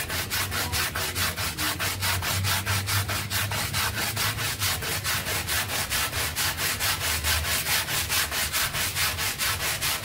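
A handheld red stiff-bristle brush vigorously scrubs a small rectangular brown synthetic pile carpet sample that is covered with white cleaning powder and lying on a floor. Steady back-and-forth strokes of about two per second produce a bright, scratchy hiss over a faint low rumble, continuing evenly throughout.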